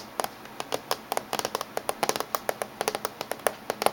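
Fingernails of both hands tap on the top surface of a closed silver laptop casing. About twenty short, dry, clicky taps land in an uneven, quick rhythm, each bright and hard-edged with almost no low end and no ring. A faint steady hiss sits underneath.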